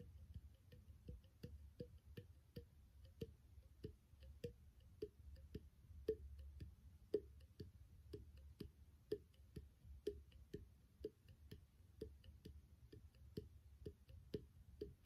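A small, empty, hollow clear glass bottle with an open threaded neck is held horizontally and tapped with the fingertips and nails. The result is a steady stream of quick, soft, dry taps with a faint hollow tone around 420 Hz. Each tap dies away almost instantly over a low background rumble.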